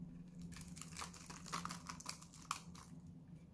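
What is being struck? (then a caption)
Bar of soap scraped with a metal blade. A solid blue oval Lux bar of dry soap, hand-sized and held in one hand, is shaved and scraped with a metal utility-knife blade, with the flakes falling onto a white table. Quiet, dry crackling scrapes and crisp crunchy cuts come in a quick, uneven series over a low steady hum.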